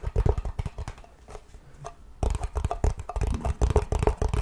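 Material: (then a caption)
Metal. Fingertips and nails tap and scratch the lid and side of a small, round, hollow blue metal cream tin held close to the mic. Quick, uneven taps come as short, dull knocks with a deep low body and almost no ring, softening into faint scratching in the middle. Then a denser burst of tapping resumes until the end.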